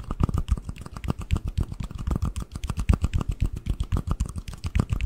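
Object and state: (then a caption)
Cardboard ring box. A small, hollow, empty white cardboard ring box, opened into its lid and base with one part in each hand, is tapped rapidly with fingertips and nails. A quick, steady stream of short taps produces dull, hollow low thumps with light clicky edges, and each tap dies away almost at once.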